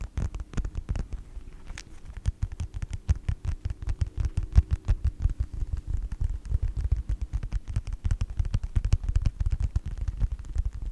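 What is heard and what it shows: Fingertips and nails tap quickly on the cover of a closed yellow faux leather wallet with a snap strap. The result is a rapid, uneven patter of soft, low thuds, each with a short, sharp click that dies away almost at once.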